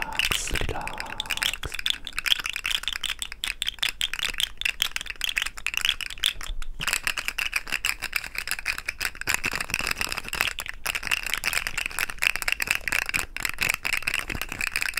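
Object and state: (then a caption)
Plastic fidget slug toy. A hollow, rainbow-segmented plastic fidget slug toy is held in the fingertips and wiggled, then bent between both hands so its segments click and rattle. The result is a dense, continuous stream of rapid, bright plastic clicks centered around 3.3 kHz, with little low end.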